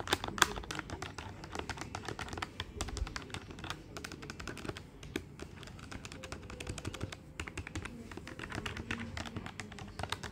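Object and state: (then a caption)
Plastic desktop calculator keys. Fingertips tap rapidly on the plastic keys of a black plastic desktop calculator with a hollow body. The result is a dense, steady stream of short, dry clicks with almost no ring, each click bright with some low body, over a faint background hum.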